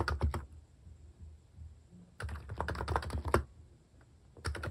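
Fingertips type on the plastic cat-themed keycaps of a Hanmumu capacitive keyboard. Soft, low, muted clacks come in quick bursts separated by short quiet pauses, each keystroke dying away almost at once.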